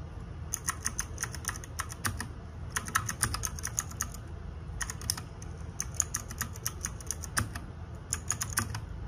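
Fingertips and nails type rapidly on the plastic keycaps of a small RGB-backlit 60% mechanical keyboard, producing bursts of sharp, bright clicks with very short decay. The bursts are separated by brief pauses over a steady low hum.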